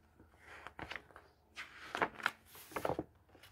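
A palm strokes the printed paper page of a thick hardcover book, then fingers grab and flip pages over. Soft brushing rustles give way to crisp, bright paper flicks and crackles with quick, dry endings.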